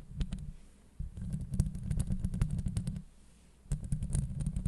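Long nails scratch a hollow metal mesh microphone grille, producing dense, low, rumbling scrapes with quick crackly ticks on top. The scratching comes in bursts, easing off briefly twice before starting again.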